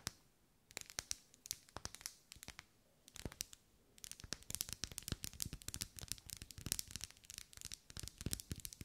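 Long nails scratch and tap along the vertical ribs of a lit, hand-held pink pillar candle made of solid wax. Sparse, sharp, dry clicks come first, then about halfway through they turn into a dense, rapid run of bright tapping and scratching with no ring.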